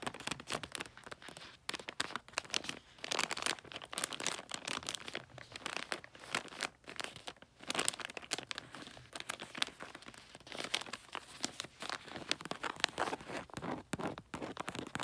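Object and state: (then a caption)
Glossy wrapping paper on a gift box. Fingertips and long nails scratch and tap the red glossy wrapping paper and snowman sticker on a rectangular gift. The result is a steady stream of bright, crinkly scratching and quick, dry taps that stop dead with no ring.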